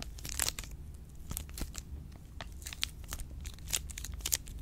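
A full milk chocolate bar in an orange plastic wrapper is scratched and crinkled by long pink nails. Bright, crackly rustles and sharp ticks come in quick bursts over a steady low rumble.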